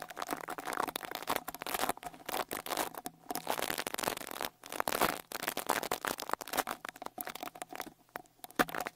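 A small white-bristle rat-tail brush with a wooden handle is swept over the right X-Y microphone capsule of a Tascam Portacapture X8 handheld recorder, scraping across its metal mesh grille. Dense, scratchy crackling bursts come in quick uneven strokes with brief silent gaps, sitting over a faint steady tone around 730 Hz with almost no low end.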